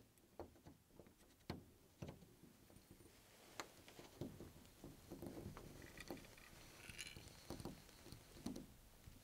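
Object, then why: Metal door knob and latch on a wooden door. A chrome metal door knob on a wooden door is gripped by one bare hand and turned back and forth. The knob and latch mechanism click and rattle in a series of sharp, brief clicks over a soft, low rattling bed, with some bright metallic ringing near the end.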